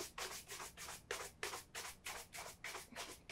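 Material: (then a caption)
Leather. A single black leather Meermin Adelaide oxford, hollow, is held up by the heel and vigorously brushed along the upper with a horsehair shoe brush. About eleven brisk, bright swishing strokes follow one another at roughly three per second, each a dry scratchy rasp with little low end.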